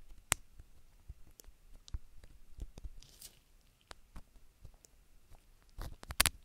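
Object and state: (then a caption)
Silicone rubber ear being scraped. A gloved hand scrapes and rubs inside the ear canal and folds of a black, solid soft silicone rubber ear mounted on a round binaural microphone, using a thin wooden stick. Close, dry scratching and sharp, bright clicks sound over a quiet background, with a brief hissy rubbing patch midway and a louder burst of scrapes near the end.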